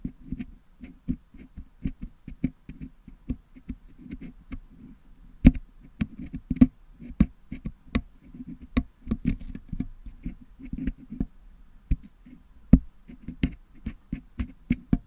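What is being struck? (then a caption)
Metal mesh microphone grille with putty. A single wooden toothpick picks and scrapes at the upper right of a Blue Yeti microphone's metal mesh grille to clean out the putty filling it. The result is a rapid, uneven series of short, dry ticks and scratchy clicks with a low, muffled body, some landing sharper and brighter than others.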